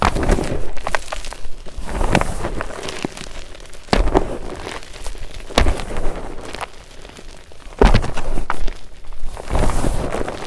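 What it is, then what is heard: Gym chalk powder being crushed. A large mound of fine white powdered magnesium carbonate gym chalk in a glass bowl is pressed and kneaded with the fingertips of both hands. Soft, dense crunching and crackling runs throughout, weighted toward the low end, with sharper, louder crunches standing out near 4, 5.6 and 8 seconds.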